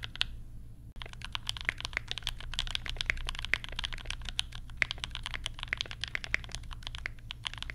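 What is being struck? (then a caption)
Plastic mechanical keyboard. Fingertips of both hands type rapidly on a compact 60% mechanical keyboard with Banana Splits switches, pastel plastic keycaps and a lavender case. A dense, steady run of short, bright, clacky key presses sounds over a low background hum, each press dying away almost instantly. After a quieter first second with a brief dropout, the typing continues evenly to the end.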